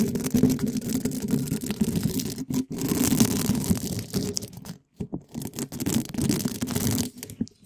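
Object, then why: Metal mesh microphone grille rubbed with soft spiky plastic balls. Two small spiky soft plastic balls, one yellow and one red, held in black-gloved fingers, are rubbed and scratched fast against both sides of the rounded, hollow black metal mesh grille of a large condenser microphone. A dense, continuous scratchy rasping comes through with a boomy low-mid body and faint high hiss. It breaks off in brief gaps near 2.5 and 5 seconds before resuming.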